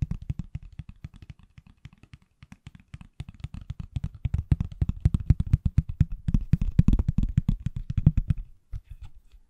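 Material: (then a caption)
Silicone. A hand-sized, solid, pale green silicone/plastic iPhone case on an iPhone, held flat and sideways behind the mic, is tapped rapidly with fingertips and nails. It makes dozens of short, dull, low thuds with almost no ring. The taps grow denser and louder around the middle, pause briefly, and end with a few softer taps.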